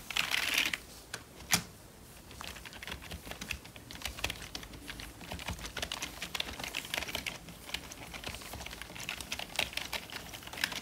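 Gloved fingertips type on a hollow, full-size black plastic membrane computer keyboard. A brief bright rustling burst opens the clip, followed by one sharp louder clack, then a steady stream of rapid, dry, bright key clicks with very short decay and little low end.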